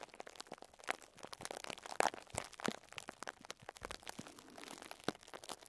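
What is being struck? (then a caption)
Plastic cling film wrapped around a sponge. Fingertips with short nails scratch and crinkle clear plastic cling film wrapped around a pink sponge. The result is a close, dense stream of soft crackles and sharp crinkling ticks. The sound is bright and papery, with little low end and almost no ring after each crackle.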